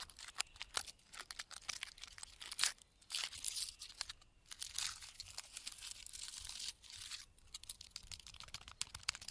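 Fingertips and nails scratch and tap the thick, flaky bark of a large, solid pine trunk standing in a forest. Dry, bright crackles and sharp clicks come in quick bursts, with longer rasping scrapes in between and almost no low end.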